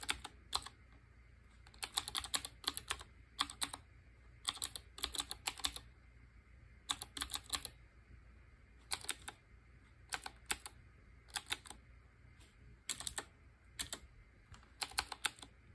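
Fingertips with short painted nails type on a black Qwerkywriter BIOHAZARD collaboration typewriter-style mechanical keyboard with round chrome-ringed keycaps. Bright, crisp clicky keystrokes come in quick bursts separated by short pauses, each click dying away almost instantly, over a faint steady low hum.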